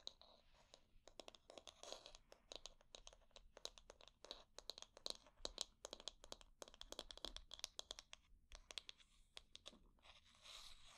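Long dark nails scratch across the wooden bristles and the back and solid handle of a light wooden paddle hair brush. The result is a quick run of dry, bright, crackly scratches and clicks with almost no ring, ending in a steadier rasping scrape.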